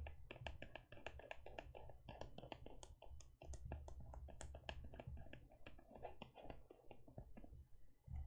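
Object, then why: Faux leather e-reader case. Long nails tap and scratch a closed teal faux leather e-reader cover and its edge. The result is a quick, irregular run of short, dry clicks with bright tips over a steady low rumble.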